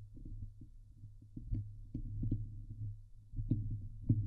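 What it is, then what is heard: Metal mesh microphone grille being scratched. Long nails scratch across the top of a Blue Yeti microphone's hollow steel mesh dome grille. The result is a low, muffled, rumbling scrape punctuated by short, dry clicks and ticks that rise briefly into brighter tones, with almost all of the energy in the deep low end.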